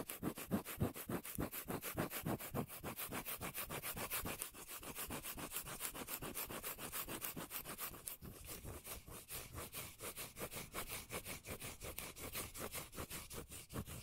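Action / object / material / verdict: scrape / cork lid / cork / none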